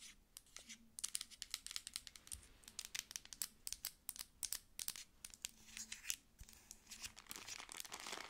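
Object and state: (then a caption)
Plastic lotion pump bottle. Long acrylic nails tap and scratch the label and body of a dark plastic lotion pump bottle held sideways. Quick, sharp, bright clicks come in dense irregular bursts, mixed with dry crinkly scratching that has almost no low end.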